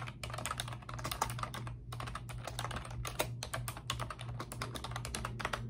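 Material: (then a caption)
Plastic. Both hands with long pink nails type rapidly on a pink plastic computer keyboard with round, backlit, typewriter-style keycaps. The result is a dense, continuous stream of short, bright, clicky taps over a steady low hum.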